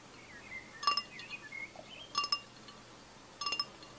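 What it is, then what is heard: Glass pint glass. A tall, clear, etched pint glass with a little orange drink and ice left in the bottom is held in one hand and tapped on the side with the fingertips and nails of the other. It gives six short, bright clinks in three pairs, each with a quick high ring around 1.2 kHz. Faint bird-like chirps sound in the background.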